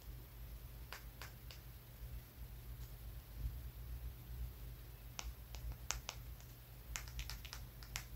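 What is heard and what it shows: A small, solid, dark brown rock is held between the fingers and tapped with the fingertips and nails of the other hand. It makes sharp, bright little clicks, a few spaced out early on and then quicker clusters toward the end. A low, steady hum runs underneath throughout.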